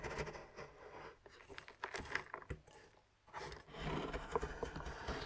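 A large knife is scraped along a flat solid milk chocolate bar resting on a wooden board, shaving off curls. Quiet, dry, crackly scraping strokes come in uneven bursts, with a brief near-silent pause partway through before the scraping resumes.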